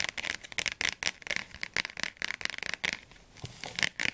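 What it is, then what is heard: Thick softcover dictionary tapped with fingernails. Long fingernails tap quickly on the glossy blue cover and edges of a thick, closed softcover Oxford Advanced Learner's Dictionary held in both hands. The result is a dense run of crisp, bright clicks with a papery, scratchy texture, centered around 2 kHz with almost no low end. Each tap dies away almost instantly.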